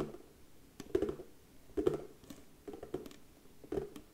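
A round, hollow box of darker brown wood with a white label on its lid is held in both hands while long nails tap the lid rapidly. The taps come in short, uneven bursts of dry, hollow knocks centred in the low-mid range. Each tap dies away almost instantly, with quiet scratchy patter between the bursts.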